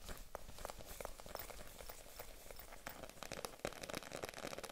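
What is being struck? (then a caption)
Faux leather handbag. A small, hollow, empty pink vegan-leather handbag with a metal zipper is held in the hands while long nails tap and scratch its leather sides. Soft, irregular crinkly taps and scratching rustles run throughout, with a low rumbling background.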